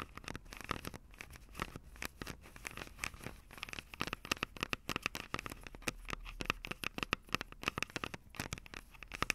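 Long acrylic nails scratch and tap from above on the microphone capsules of a Tascam DR-05 handheld recorder, which has a plastic body with metal mic grilles. The result is a dense stream of dry, bright clicks and scratchy crackles with no ring. A band of tone near 1.3 kHz and another higher up stand out over a faint low rumble.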